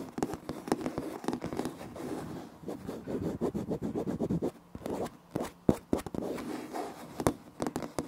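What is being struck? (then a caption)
Laminate floor planks. Fingertips and short nails of both hands scratch and tap on light wood-grain laminate floor planks with visible seams, a large flat solid surface, close to a Tascam recorder. Dry, crisp scratching rasps run in bursts, broken by sharp, quick taps that die away almost instantly, with the sound sitting mostly in the low-mids.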